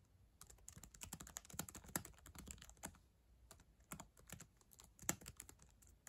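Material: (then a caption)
Plastic. Long acrylic nails and fingertips type on the plastic keys of a black ThinkPad laptop keyboard. Quick, irregular bursts of sharp, bright clicks and clacks come with brief pauses, each tap dying away almost instantly.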